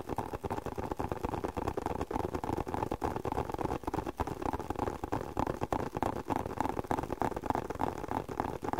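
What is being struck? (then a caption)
Leather spectacle case. Fingertips tap rapidly and irregularly on a closed, hollow, hand-sized black leather spectacle case. The taps are soft, dull and muffled, centred in the mids with little brightness, and each dies away almost instantly.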